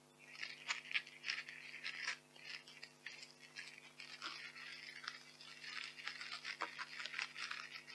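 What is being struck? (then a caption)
Expanded polystyrene packing peanuts. Handfuls of white expanded polystyrene packing peanuts are squeezed and crunched in both fists, producing dense, bright squeaky crackling in irregular bursts. A faint steady low hum sits underneath throughout.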